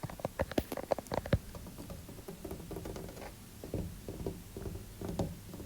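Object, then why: Painted wooden interior door. Natural fingernails tap on a white-painted interior apartment door. A quick run of sharp, light taps with a mid-pitched knock comes first, then eases into a softer, steady patter of lighter tapping with almost no ring.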